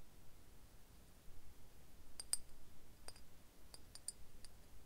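Fingernails tap the base of a hollow green glass bottle with embossed relief lying on its side, then tap and scratch along its body. Short, bright, glassy clicks ring only briefly over a quiet, low background rumble.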